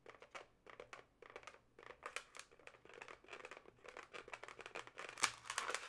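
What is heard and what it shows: Long nails tap and scratch the taut surface of a yellow twisted latex modelling balloon with two inflated hollow segments. Quiet, irregular bursts of crisp, bright scratching and tapping follow one another with a crinkly, squeaky texture. The sounds grow louder and denser toward the end, with one sharp tap standing out.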